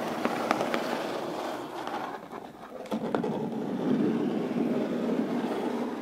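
Long pointed pink nails tap and scratch the lid of a closed, hollow brown corrugated cardboard box. Sharp, hollow taps mix with a dry, papery scratching that sits mostly in the mid range. The sound dips quieter briefly midway, then picks up again with denser scratching.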